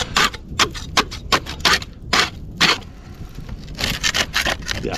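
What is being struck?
Metal scraper on painted cement render.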